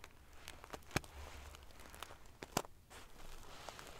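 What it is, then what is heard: Metal-sequin pillow. Long nails scratch across a large padded pillow covered in rows of silver metal sequin pieces, making quiet crackling, ticking scrapes over a low rumble. Two sharper, brighter clicks stand out as the metal pieces snap against each other, then the soft prickly rustling continues.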